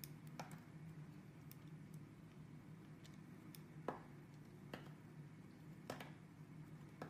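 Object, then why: Bar of soap carved with a small blade. A small metal blade carves and scrapes into a solid blue soap bar with pressed flower shapes, held in hands with red painted nails, curling off shavings. Quiet, soft scraping runs under a steady low hum, broken by several sharp, short clicks as the blade cuts in.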